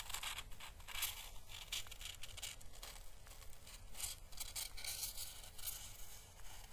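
A small, pale green, hollow, papery dried Chinese lantern husk, held by the fingertips, is brushed with a paintbrush along its thin dry surface. Soft, bright crackling and scratchy rustling come in a loose, uneven run of strokes over a steady low hum.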